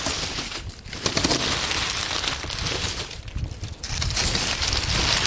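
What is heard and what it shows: Hands dig into, squeeze and crush a pile of dry brown oak leaves heaped on a wooden table. The result is a dense, bright crackling and crinkling that runs almost continuously, with brief quieter dips around one second and between three and four seconds.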